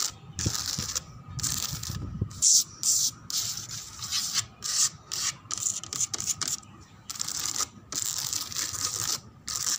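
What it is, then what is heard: Textured plastic chair. Long acrylic nails scratch and tap the raised rose relief and lattice pattern on the back of a large molded white plastic chair. The result is bright, dry rasping strokes in short bursts separated by brief silences, with a few light taps mixed in.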